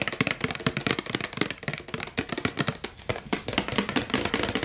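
A hollow, empty clear plastic drinking tumbler with a colorful printed insert and a paper label is held in both hands and tapped fast with long acrylic nails. The result is a dense, continuous run of sharp, bright clicks and hollow plastic knocks, each dying away almost instantly, with a faint body tone around 300 Hz.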